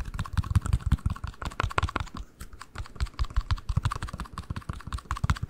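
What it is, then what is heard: Cardboard ring box. A small, closed, hollow cardboard ring box in pale pink-white is held close to the microphone and tapped and scratched with fingertips and nails. Rapid, irregular soft taps with deep, hollow thumps mix with scratchy clicks throughout, pausing briefly near the middle before continuing.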